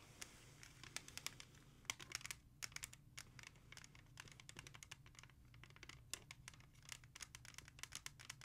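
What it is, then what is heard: Plastic CD jewel case. A music CD in a clear plastic jewel case is held and turned front to back while long nails tap and scratch across it. Many quick, bright plastic clicks and scrapes come in uneven bursts over a faint steady low hum.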